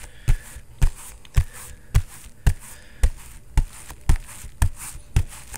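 A bare fist pounds a padded synthetic leather boxing focus mitt with a vinyl cover and foam filling at a quick, fairly steady pace. Ten deep, dull thuds land about twice a second, each dying away almost instantly, with faint high hiss in between.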